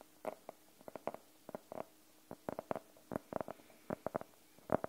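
A fingernail taps on the cover of a closed navy faux-leather hardcover notebook, briefly held low behind the mic. It makes a quick, irregular run of short, dry, midrange clicks with a slight hollow body and no ringing. Some taps come in fast little clusters, and quiet pauses fall between the bursts.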